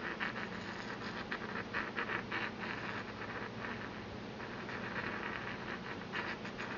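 A porcelain pestle taps and scrapes around the inside of a small, empty white porcelain mortar held in the hand. The result is a quiet, steady, dry grinding scratch with soft clinks and a faint bright ringing tone around 1.7 kHz.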